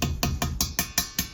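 A technician taps by ear on the air side of a steel Amtrol EX30 boiler expansion tank, the part holding the air charge above the bladder, to test it. Eight quick, separate taps each give a short, hollow knock with a bright metallic edge and a low thud that dies away fast. The hollow sound shows a working tank, as it should be.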